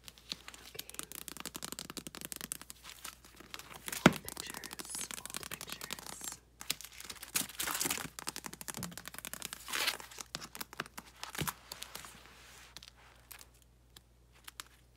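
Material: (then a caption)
Plastic. A photo album with photos in plastic sleeves lies open on carpet while fingertips and long nails rub the sleeves and flip the pages. Dense, bright crinkling and rustling runs throughout, with a sharp crack near four seconds and louder page-turning swishes later on. The sound thins out toward a quieter end.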